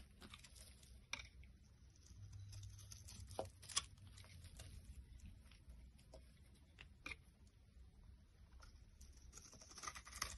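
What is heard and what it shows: A box cutter blade shaves flakes off a solid white vegetable soap bar, stamped "100% vegetable" and held in the hand. Quiet, irregular scraping and crackling cuts are punctuated by a few sharp, bright snaps over a soft low rumble.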